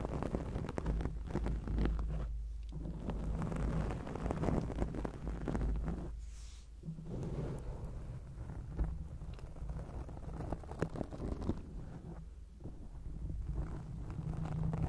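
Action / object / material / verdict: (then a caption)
scrape / foam microphone windscreen / foam / none. Long acrylic nails scratch a round grey foam windscreen on a microphone, making a dense, muffled, low rumbling scrape with a steady hum underneath. The scratching runs almost continuously, easing off briefly around 2.5, 6.5 and 12.5 seconds before resuming.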